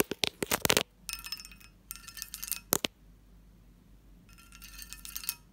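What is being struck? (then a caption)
Cut-glass lidded dish. A long nail taps the lid near the knob of a hollow, textured cut-glass lidded dish, producing ringing chimes. A quick run of sharp, bright clinks comes first, then high shimmering rings that sustain and fade, and a few more taps with the chime returning at the end.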